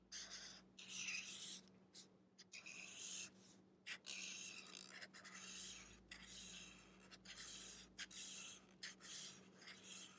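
A black-bodied felt-tip marker rubs along the page of an open paper sketchbook lying flat, making short coloring strokes. The strokes come as soft, bright, raspy scratches separated by brief pauses, over a faint steady low hum.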